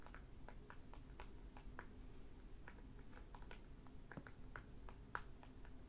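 Fingertips with short nails tap quickly across the glossy plastic library cover over the paper dust jacket of a closed hardback library book, "The Half Brother", lying flat and solid on a wooden table. Both hands produce a soft, steady patter of short, dry clicks and taps that die away almost instantly, over a low background rumble.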